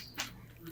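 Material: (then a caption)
Bread crust. Two short, bright crackles come from the crust of a baked and cooled gluten-free sourdough loaf, a sharp one followed by a fainter one. The crackly sound marks a crisp, well-baked crust.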